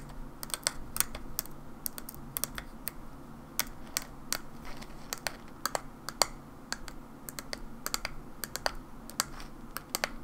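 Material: Plastic.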